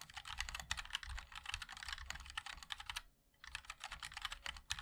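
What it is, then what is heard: Mechanical keyboard being typed on. Fingertips of both hands type continuously on a MOD-L 60% mechanical keyboard with a black aluminium case, white and black ABS keycaps and linear switches. The result is a dense run of bright, clacky, short taps with a little low thump underneath. The typing pauses briefly around the three-second mark, then resumes.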